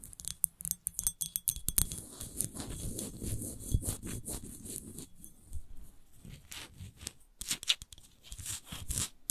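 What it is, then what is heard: Textured glass bottle tapped and scratched with nails. Long nails tap and scratch a large, empty, hollow clear glass wine bottle with a textured rose base while it is held and tilted. Quick, dry tapping opens and closes the clip, with a steady, gritty scratching across the textured glass in between. The clicks are sharp and bright, with almost no ring afterward.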